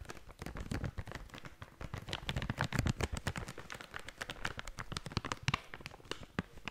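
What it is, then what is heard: Plastic snack bag being crinkled. A blue and yellow plastic/foil snack bag is shaken and crinkled quickly in one hand. It makes a dense, irregular stream of sharp crackles and rustles, with bright, crisp snaps over soft low thumps, for the whole clip.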